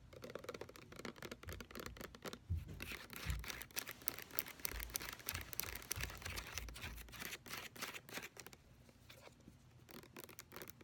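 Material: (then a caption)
Plastic. Long nails fast-tap and scratch the paper label and plastic body of a large white plastic lotion pump bottle that appears full. Rapid, irregular crisp clicks mix with dry, bright scratching and soft low thumps, busiest in the middle and thinning out toward the end.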